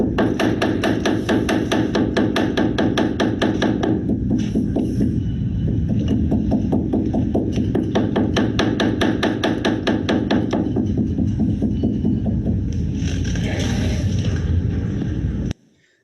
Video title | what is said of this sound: Servicing the Steinway Key Block Systems Tuesday September 15, 2020 | that contact is really quite minimal it really only stops knocking right as the screw finishes turning in all the way